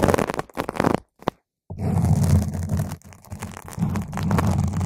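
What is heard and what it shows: Long pointed green acrylic nails poke and scratch the edges and top of a purple spherical foam windscreen on a microphone. The sound is a dense, muffled, low rumbling scrape in uneven bursts. After a brief silence it settles into a steady, heavy scratching that lasts to the end.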